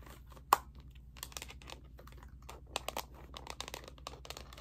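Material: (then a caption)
Plastic. A handheld graphing calculator in its black hard plastic slide-on cover is held upright in one hand while long painted nails tap and scratch the back of the hollow plastic case. One sharp, loud tap stands out near the start, followed by a run of quick, light, dry clicks and scratches with no ring. A low, steady hum sits underneath throughout.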